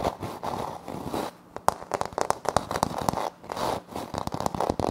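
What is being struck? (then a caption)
Laminate floor panel. Fingernails scratch and tap a flat, solid wood-look laminate floor panel with a light wood-grain print, close to the recorder without touching it. Soft, crackly scratching strokes give way to a run of sharp, dry taps centered around 875 Hz with almost no ring, then more scratching mixed with quick taps.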